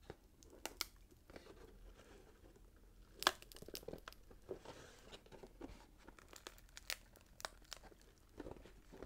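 A small rectangular cardboard gift box, wrapped in red patterned paper with a gold glitter ribbon and bow, is held in both hands while thumbs and fingertips press, crinkle and scratch the wrapping paper. Quiet, bright papery crinkling and scratching runs throughout, broken by short, sharp crackles. The loudest snap comes just after the three-second mark.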